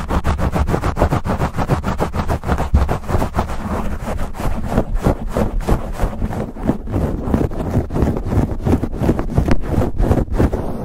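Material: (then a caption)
Foam. Fingertips of both hands scratch and rub fast on a black foam windscreen fitted over a silver USB microphone. The result is a steady stream of rapid, scratchy rustling bursts over a heavy low rumble that lasts the whole clip.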